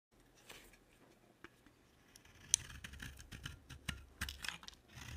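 An oval, dry bar of soap with a black glitter coating over a green core is held in the hand and shaved with a utility knife blade, piling up shavings. The clip is a series of quiet, crisp, bright scraping and carving strokes with a few sharper clicks as the blade bites. Each stroke dies away almost instantly.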